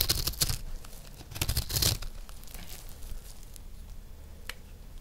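A metal knife blade scrapes a round, solid, peach-colored dry recycled soap disc held in one hand, curling off shavings. Bright, crackly scraping comes in two louder bursts early on, then settles into softer rasping with a sharp tick near the end.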